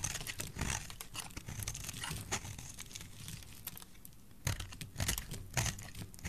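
A solid oval green bar of dry soap held in the hand is scraped and cut with a metal blade. The result is a run of dry, crunchy scrapes and crinkling cuts, with bright crackle over a low, dense rasp. Sharper bursts stand out near the end.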